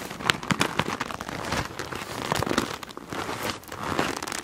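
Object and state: PVC plastic pouch full of markers, squeezed.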